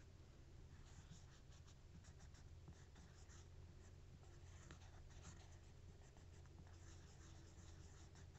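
A thin, solid, bread-shaped textured cork coaster, held in one hand, has its surface traced and scratched with the capped tip of a marker. It makes quiet, dry scratching strokes over a steady low hum. The strokes come as short scrapes and longer traces throughout.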